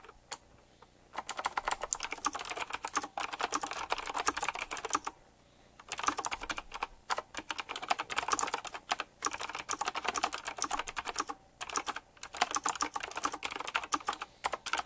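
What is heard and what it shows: A full-size typewriter-style mechanical keyboard with round black plastic keycaps, chrome-look rims and a metallic frame is typed on quickly with fingertips. Bursts of fast, bright clacking taps come with short pauses between them, each click crisp and dry with almost no ring or low end.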